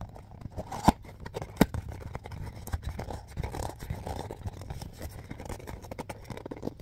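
A hollow, hand-sized Mr. Bean DVD case with a plastic shell and printed sleeve is gripped and tapped quickly by fingertips. This makes a steady stream of soft, dull plastic clicks, scratches and crunchy rustles, with two sharper, louder taps near the start. The sound stays low and muffled, with very short, dry hits and almost no bright content.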